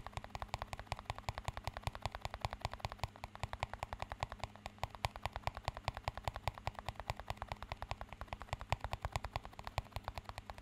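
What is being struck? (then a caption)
Small clear plastic cup. A small, empty clear plastic cup is tapped rapidly with fingertips and nails, making a fast, continuous run of short, crisp clicks that stop almost instantly. A steady low hum sits underneath the tapping throughout.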